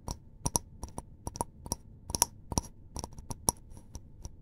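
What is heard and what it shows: A small, hollow, apparently empty white disposable paper cup is held in both hands and tapped and scratched around its side and rim with fingertips and short nails. The result is a series of quick, dry clicks and taps with a light papery ring near 940 Hz and bright, crisp tops, over a quiet background.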